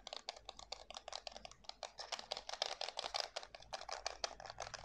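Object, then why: Plastic game controller. Fingertips press the buttons and tap the hollow shell of a white plastic PS5 DualSense controller held in both hands. It makes a rapid, steady run of dry, bright clicks and taps with almost no ring or low end, much like fast typing.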